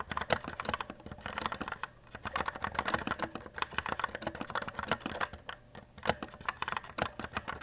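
Fingertips type quickly on a white E-Element Z-88 RGB mechanical keyboard with plastic keycaps. Many short, bright plastic clacks come in dense bursts, with brief pauses around two and five and a half seconds, and each keystroke stops almost immediately.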